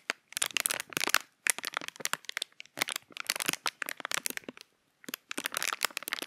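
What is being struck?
Thin clear plastic packaging.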